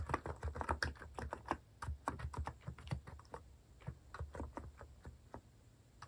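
Fingertips type steadily on a compact white plastic mechanical keyboard fitted with cat keycaps. The clicks are soft and muted, with a low thud under each keystroke and little brightness. Each keystroke decays quickly as the typing runs on at an even, gentle pace.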